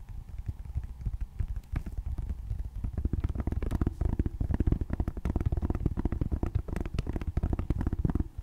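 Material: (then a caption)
Plastic. Long painted nails tap and scratch the black plastic back of a tablet held flat on a lap. Quick, dense, dull taps and crackly scratches run steadily throughout, mostly low and muffled, each tap dying away almost instantly.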